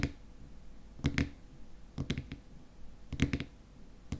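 Fingernails tap rapidly on the frosted white plastic lid of a small glass cream jar filled with cream. Quick clusters of short, dry clicking taps come with brief pauses between them, each with a low, muted body and a faint bright tick that dies away almost instantly.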